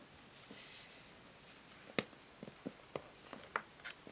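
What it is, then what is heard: Plastic paddle hair brush. Long nails tap and scratch a plastic paddle hair brush, first on its back and then on the bristle side's plastic pins. Soft, faint scratching gives way to a series of sharp, short, bright clicks at an irregular pace over quiet background hiss.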